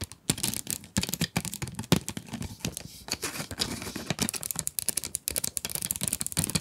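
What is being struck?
Cardboard pencil box with clear plastic window.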